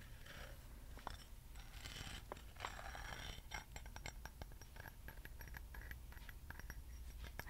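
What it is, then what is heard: Metal acorn candle holder. A small hollow metal acorn candle holder, held close, is tapped and scratched with fingernails on its lattice and stem. Many quick, bright metallic ticks and clicks with a faint ring near 1 kHz sit over soft scratching and a steady low rumble.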